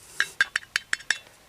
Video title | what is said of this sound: Get Rid Of Your Stuff - On The Run - Apr 10, 2025 - 78 | That sounds hollow. Sounds like it popped.